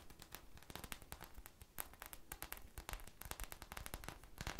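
A small, soft, solid polyurethane foam squishy toy shaped like a purple ice cream bar with a sprinkle coating and a stick is held in the hands and scratched and tapped with long manicured nails. The result is a dense run of quick, dry crackling clicks and scratchy rustles that come in uneven bursts.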